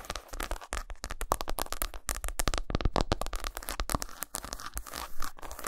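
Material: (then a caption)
Chocolate. Long nails scratch and tap rapidly across a solid milk chocolate bar resting on a towel, and the bar is turned lengthwise at the end. The result is a dense, crunchy run of quick scratches and dull taps with a heavy low-end thump.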